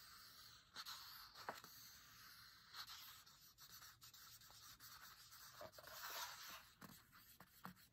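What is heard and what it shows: A soft, airy rasp runs through most of the clip, broken by quick, dry ticks where the nail catches. The sound is bright and papery with almost no low end or ring, typical of a fingertip tracing over thick matte book paper.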